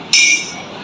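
A glass holding a medium amount of water is struck once with a spoon, giving a bright, high clink pitched around 2.4 kHz that rings briefly and fades within about a quarter second. The water damps the ring compared with an empty glass.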